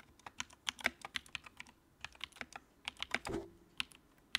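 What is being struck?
Plastic mechanical keyboard.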